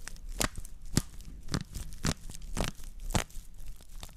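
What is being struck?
Woven straw plate.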